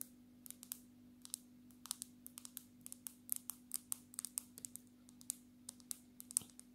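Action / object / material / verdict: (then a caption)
tap / glass-backed smartphone / glass / none. Long natural nails tap rapidly on the back and edge of a black glass-backed smartphone. About thirty quick, bright, dry clicks sound in an irregular rhythm, each dying away almost instantly. A faint steady low hum runs underneath.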